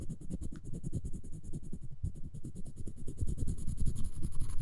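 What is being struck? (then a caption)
Wooden spoon handle and plastic floss pick. The floss string of a plastic floss pick is rapidly scratched and rubbed across the handle of a solid wooden spoon held by fingers. It makes a quick, slightly uneven run of dry scratching strokes with a low, muffled body, and each stroke dies away almost at once.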